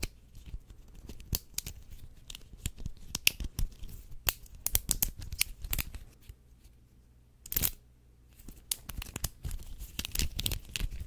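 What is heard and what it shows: Fingers stretch, twist and click the segments of an orange and blue linked plastic fidget chain toy, producing rapid, sharp, bright clicks and crackly snaps over a low background rumble. The clicking briefly falls quiet in the middle, then resumes with a dense burst and continues to the end.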